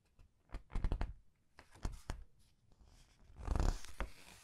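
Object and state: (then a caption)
Paper pages of a large book being turned and squeezed. The paper pages of a large art book are turned and squeezed with the fingernails. Soft, dry crackles and crinkles come in short clusters, with a fuller, louder papery rustle swelling near the end before fading. The sound is close and mostly low and muffled.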